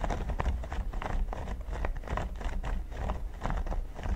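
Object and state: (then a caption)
Silicone pyramid mat. Fingertips and nails tap rhythmically on a flat, solid red silicone pyramid mat. A quick run of soft, dull taps rides on a steady low rumble, with brief brighter clicks from the nails. The taps die away quickly.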